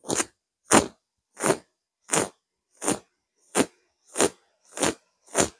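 Fingertips and long nails from both hands scratch a soft, stuffed grey pillow with a coarse burlap-like weave and shaggy tufted lines. Nine short, dry, crackly scratching bursts come at a steady pace with silence between them, each a broad rasp with a bright, hissy top.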